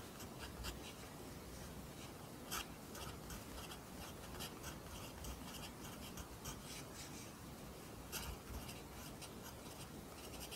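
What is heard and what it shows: A pencil writes Korean handwriting in an open lined paper notebook, its graphite scratching across the paper in quiet, bright strokes. Short, sharper scratches stand out now and then over a steady low rumble. The soft scraping continues evenly throughout.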